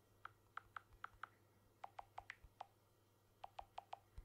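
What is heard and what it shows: Fingertips tap the glass back of a blue smartphone with an aluminium frame, held close to the mic. There are 15 short, dry, clicky taps in three quick bursts. The first five are slightly higher-pitched and the later ones lower, each dying away almost instantly over a quiet low hum.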